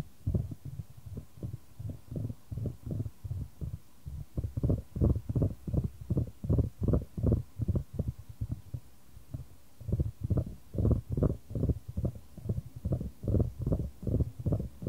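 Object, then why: Wooden ball in a shallow wooden tray. A solid, light wooden ball rolls around a shallow square wooden tray held in white-gloved hands, with the tray tilted to keep the ball moving. It gives a steady run of about 37 soft, low, dull knocks and rumbles as the ball strikes the tray's sides. Each knock dies away at once, and the sequence has an uneven, heartbeat-like pulse with almost no bright content.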